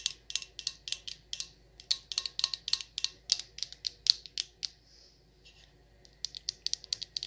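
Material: Glass.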